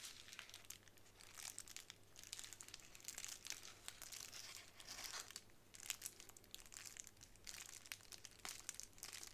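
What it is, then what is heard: Plastic bubble wrap. A plastic bubble wrap sheet is scratched with fingernails on a table, then lifted and crinkled in the hands. The result is a quiet, bright, dense crackle of short crisp ticks and rustles that swell and fade in waves over a faint steady low hum.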